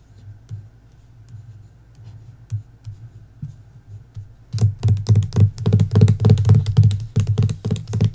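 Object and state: Hardcover book with paper dust jacket.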